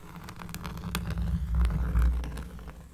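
Long fingernails of both hands scratch a round, flat, solid cork trivet lying on a table. The result is a dull, bassy rumble scattered with faint crackly ticks, swelling toward the middle and then fading.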